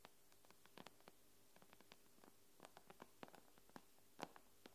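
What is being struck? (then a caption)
Tablet glass screen. Long nails tap and scratch quickly on the glass screen of an iPad. About twenty short, dry, quiet clicks arrive at an irregular pace, each with a bright edge and almost no ring, over a low steady hum.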